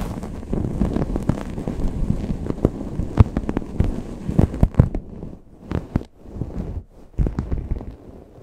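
Long painted nails scratch a grey microfiber towel draped over a Blue Yeti microphone, both fast and slow. The result is dense, muffled scratching and rustling, heavy in the low end, with sharp crackling bursts. In the second half it breaks into shorter patches separated by quieter pauses.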